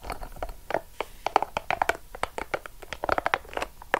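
A small, hollow, yellow-and-purple soft rubber spiky ball is squeezed and crushed in the hand while long acrylic nails dig into and scratch its spikes. The result is a dense run of short, sharp crinkly clicks and scratches, mostly in the midrange, each dying away almost instantly, with some brighter ticks on top.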